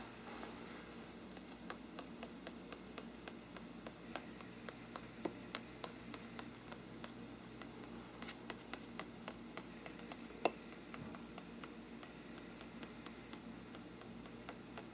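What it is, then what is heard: Parchment paper lampshade. A fine paintbrush held in one hand strokes and taps the mottled, parchment-like paper surface of a large, hollow, thin-walled bell-shaped lampshade. Soft brushing swishes are scattered with quiet, dry ticks over a steady low hiss. One sharper, brighter tap stands out about two-thirds of the way through.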